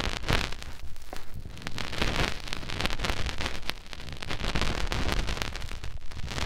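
A fingertip rubs inside the ear canal of a white silicone ear mounted on a round binaural microphone. The result is a close, muffled, bass-heavy rumbling and scratchy rustle, broken by dense crackling pops and bright, hissy friction. It stays fairly steady in loudness with a brief dip partway through.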